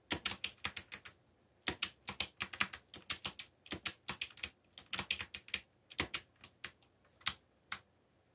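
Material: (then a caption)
Plastic. Fingertips type steadily on the keycaps of a backlit black plastic mechanical keyboard, producing quick, bright clacks in flowing bursts. The keystrokes are dry and short, with brief pauses near 1.5 and 7 seconds.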